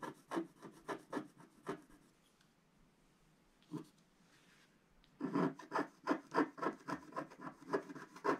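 A wooden scratch stick scratches the black coating of a flat, roughly A4 scratch-art sheet lying on a table and held down by one hand, revealing a coloured Christmas stocking design. Quick, dry rasping strokes come in a steady run, pause for a few seconds with a single stroke in between, then resume denser and louder.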